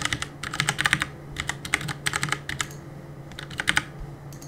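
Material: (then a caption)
Plastic. Fingertips rapidly press the keys of a black Cooler Master mechanical keyboard with plastic keycaps and a solid plastic case, resting on a wooden desk, while gaming. Quick bursts of short, bright plastic clicks and taps come in clusters with a brief lull in the middle, over a faint low hum.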